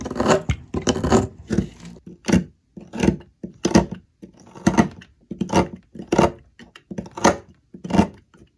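A metal blade shaves down a solid green olive oil soap block on a table, scraping across the cut face. A series of short, rough scraping strokes with a low, dull body and a little bright rasp at each pass is separated by brief silences.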